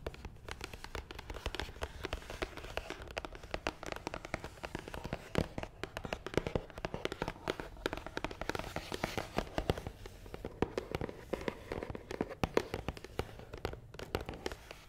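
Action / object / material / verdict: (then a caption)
tap / cardboard box / cardboard / none. Long nails tap quickly on top of a long, hollow, black matte cardboard box. The result is a dense stream of short, dry, crackling taps with a hollow, low-mid thump beneath them and almost no ring after each strike.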